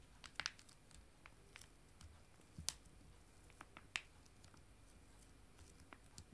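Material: Foil laminate.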